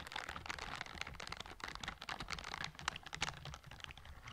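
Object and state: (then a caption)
Silicone scrubber gloves. Pink silicone scrubber gloves with bristle palms, worn on the hands, are rubbed and brushed against each other beside the microphone. The result is a dense, bright, crackly rustle of rapid little clicks and scratches that keeps going without pause, with a soft low rumble underneath.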